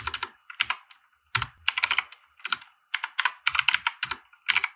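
Fingertips of both hands type on a compact 60% mechanical keyboard with white plastic keycaps and RGB lighting, resting on a felt desk mat. Quick bursts of bright, crisp plastic clacks are separated by short pauses, with each keystroke dying away almost instantly and very little low end.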